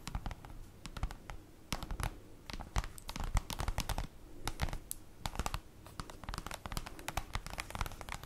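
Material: Cardboard.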